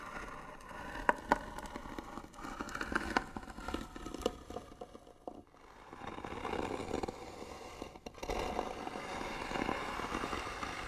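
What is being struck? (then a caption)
Wooden box. Short fingernails scratch the lid of a hollow white wooden box with bead trim while the other hand holds the box steady. Dry, crackly scraping is broken by sharp clicky taps early on, then briefly quiets before a steadier, denser scratching resumes to the end.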